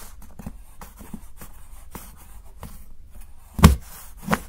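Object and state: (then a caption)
Dark chocolate bar being chopped. A steel knife chops and shaves the edge of a solid, segmented dark chocolate bar held by fingertips. Soft, low scraping and light ticks build up until two sharp, distinct chops land near the end, each with a bright crack and a short, dull thud.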